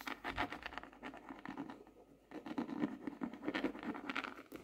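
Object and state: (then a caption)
Laminated hardcover notebook. Long nails tap and patter quickly on the front cover of a closed, solid, dark laminated hardcover notebook with a glossy tropical-leaf print, lying flat on a desk. The taps are dry, short and clicky with a hollow mid-toned body and a brief quieter lull midway before the rapid pattering picks back up.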